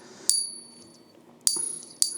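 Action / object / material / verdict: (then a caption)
flick / silver bullion coin / silver / real. A 2025 silver Britannia bullion coin is pinged three times in a ping tester, each strike giving a clear, high ring with steady tones that sustain between pings. The clean ring confirms it as real silver, whose ring can't be mistaken.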